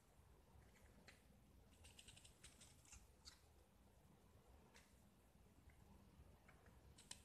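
A black-painted solid gypsum disc, now mostly scraped white, is held in the fingers and scraped further with a utility knife blade. Quiet, short, bright scratching strokes rasp in irregular bursts over a steady low rumble. A sharper scrape stands out near the end.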